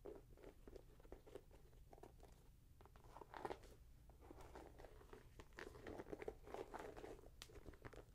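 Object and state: Leather and mesh sneaker.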